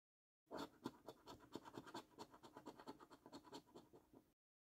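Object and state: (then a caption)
Paper scratch card being scratched. A coin edge scratches the scratch-off coating on a thin, flat paper £15 National Lottery "5x £300,000 Luxury Lines" scratch card. It makes a quick run of dry, rasping strokes that keep a steady, uneven rhythm. The scraping is short and papery, with little low end and no ring after each stroke.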